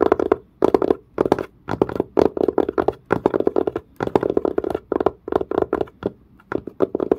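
A fingernail scratches and a fingertip taps quickly on the dark, pebble-grain, leather-like curved surface of a textured leather-covered case. Dry, crisp bursts of rapid tapping and scratchy rubbing come in clusters separated by short pauses, centered in the midrange with a bright crackly edge and very little low end. Each tap dies away almost instantly.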